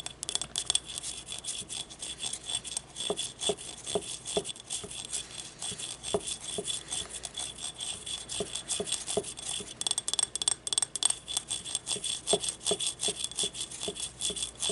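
Long nails scratch along the vertical ribs of a small, hollow, yellow glazed ceramic ribbed ramekin used as a paint cup, held in the hands. A dense run of quick, bright, raspy ticks and clicks continues throughout, mostly high-pitched with very little low end and no lingering ring.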